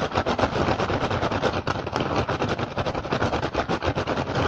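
Fingertips and short nails of both hands rapidly tap and scratch the woven surface of an upturned, hollow, empty rattan basket. The result is a dense, continuous stream of quick, dry clicks and rustling scrapes with a hollow low body, running steadily from start to finish with no pauses.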